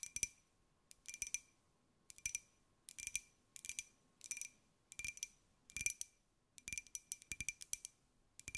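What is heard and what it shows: Long nails tap a small, hollow, white glazed ceramic jar with a pineapple print held in the hands. Quick, bright, clicky taps come in short irregular bursts, each with a faint glassy ring that dies almost at once. There is very little low end, and quiet pauses fall between the bursts.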